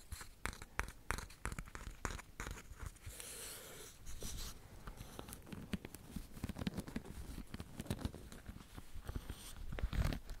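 Fingertips and nails scratch and flick across the rows of wooden pin bristles on a small handheld hairbrush with a leopard-print body, held close to the microphone. Quiet, dry clicks and sharp taps come in quick, irregular bursts over a soft scratchy rasp, with brief hissy brushing strokes and low thumps from the close handling. Each flick dies away almost instantly.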